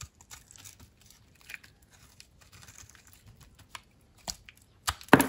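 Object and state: Dry soap bar being cut.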